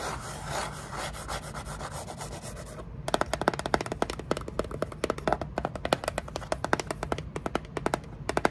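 Long nails scratch and rub quickly across the flat face of a small kraft cardboard box held upright. For the first three seconds there is a steady, bright papery rasp, then it turns into a rapid run of sharp, dry scratches and clicks that continues to the end.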